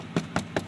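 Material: Plastic.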